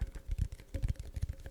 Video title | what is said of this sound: This is my last ASMR video. | I would get this sort of more wooden cardboard sound.